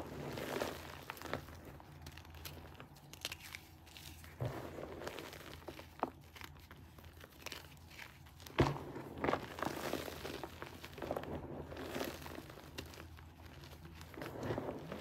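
Both hands grab and squeeze small solid lumps in a pile of grey gym chalk (magnesium carbonate) powder, crumbling them between the fingers. The result is soft, irregular crunching and crinkly crumbling with dry, short-lived crackles, one sharper crunch standing out about midway through.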